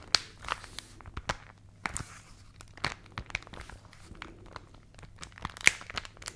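A hollow rolled paper magazine tube is held in both hands while fingertips and long nails squeeze, rub and scratch the paper. It makes dry, bright crinkles and sharp little crackles over a quiet, close background. Each crackle snaps off almost instantly.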